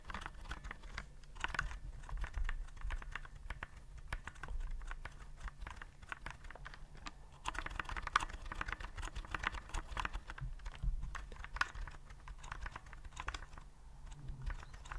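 Fingertips type steadily on a white plastic typewriter-style keyboard with round keycaps, held upright. A continuous run of quick, dry clicks and taps with a soft low thump beneath them, each keystroke dying away almost instantly.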